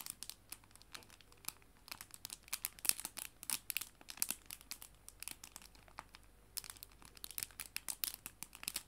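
A small clear plastic cellophane bag holding paper art prints is held in both hands and crinkled by fingertips and nails. Dozens of quick, bright crackles and crinkles come in uneven bursts, with almost no low end. The crinkling eases to softer rustles for a moment before picking up again.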